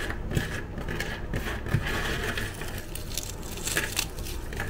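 Pieces of dry, crunchy chocolate-chip cookies are crushed and crumbled between fingers and thumbs into fine crumbs over a white surface. A steady run of dense crackling and crunching is heard, with sharp brittle snaps standing out above a low rumbling bed.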